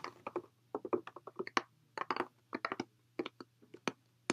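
A clear, hollow plastic water bottle, partly filled with water, is held close and tapped and squeezed with fingertips and nails. It gives quick, irregular bursts of crinkly, crunching plastic clicks with little ring, over a faint steady low hum.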